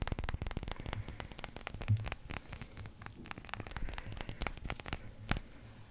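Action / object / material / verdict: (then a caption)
tap / resin billiard ball / resin / none. A small, solid yellow resin billiard ball is held close to the microphone and tapped with fingertips and nails. The result is a quick, steady stream of short, dry taps: soft low thumps with bright clicky edges over a faint crackling hiss, each tap dying away almost at once.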